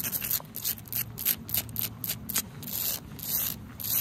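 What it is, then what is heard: Wet asphalt pavement scratched with nails. Long acrylic nails scratch and rub across a large, flat, solid, dark asphalt road or driveway surface that is wet, outdoors in the rain. Repeated short, bright, gritty scraping strokes rise and fall over a steady high hiss and a faint low rumble.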